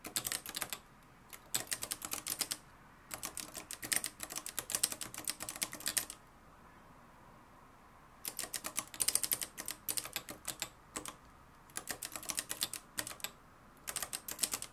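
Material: Plastic, metal.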